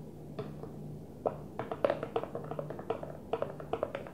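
Fingers gently tap a Tupperware plastic food container in an irregular series of light, quick taps. Each tap is short and dry, with a hollow midrange knock that dies away almost instantly, over a faint steady low hum.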